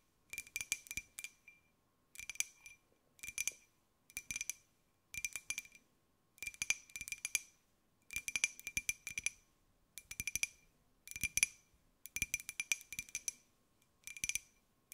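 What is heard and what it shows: A small, hollow, white glazed ceramic jar with a pink and gold pineapple print is held in both hands and tapped with long gray-white nails. Bright, glassy clicks come in quick clusters about every second, separated by short silences. Each tap is crisp, dies away almost instantly, and carries a faint high ring near 2.4 kHz.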